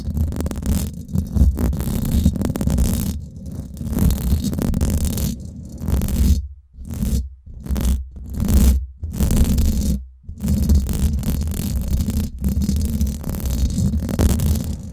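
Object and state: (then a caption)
Metal mesh microphone grille being scratched. Long acrylic nails scratch the hollow domed steel mesh head of a Blue Yeti microphone, at both fast and slow speeds. The result is a dense, low, rumbling scrape with a deep thump, broken by a few short silent gaps midway through.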